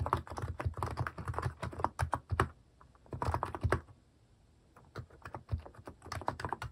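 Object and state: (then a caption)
Plastic mechanical keyboard. Fast fingertip typing on a compact mechanical keyboard with a white plastic case and cat-themed plastic keycaps. It produces rapid bursts of short, deep, clacky key taps with a strong low thump, broken by brief pauses before the typing resumes.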